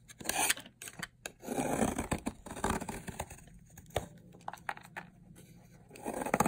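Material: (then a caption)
Soap. A metal blade scrapes and shaves layered flakes off a long, solid yellow bar of dried soap. Dry, crackling scrapes and crunchy shaving strokes come in bursts separated by brief quiet gaps, with a steady faint low hum underneath.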